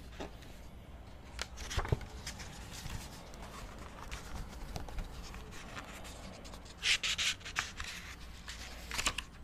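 Fingers riffle and flip the white paper pages of an open book held beside the mic. Soft papery rustles and light flicks sit over a steady low hum, with a cluster of bright, crisp page flutters late in the clip.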